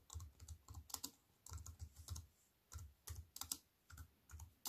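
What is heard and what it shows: A slim wireless keyboard with black plastic keys in a grey metal-look frame, lying on a wooden table, is typed on with fingertips with white-painted nails. Quick, uneven bursts of taps each land as a soft low thud with a bright, crisp click on top. Every tap dies away almost instantly, leaving short quiet gaps between the bursts.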